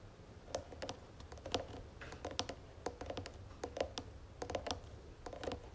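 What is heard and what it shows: Long nails of both hands tap rapidly on the sides of a round wooden jewelry box with gold trim. The result is a quick, irregular series of short, dry clicks with a hollow woody tone around 530 Hz and bright, crisp tops. A faint, steady low hum sits underneath.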